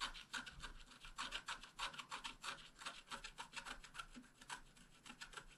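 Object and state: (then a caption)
Scratch-art paper being scratched. A wooden stylus scratches details of a bicycle frame and flowers into a flat, wax-coated scratch-art paper card. It produces a quick, irregular run of short, dry, bright scraping strokes with a rasping, rubbing texture and almost no low end.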